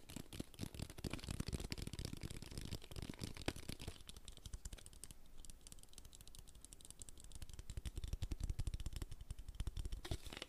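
Fingertips rapidly tap on the body and white cap of an empty clear plastic water bottle held in one hand. The result is a dense, fast stream of short, dull plastic thuds with crisp clicks, brighter and crackly at first, then softer and more muffled in the middle before picking up again.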